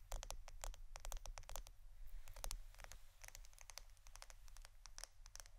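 A roll of plastic Scotch adhesive tape is tapped and scratched with rapid, uneven fingertip strikes. The result is a quiet stream of short, dry clicks with a bright, crisp top and no ring, over a steady low hum.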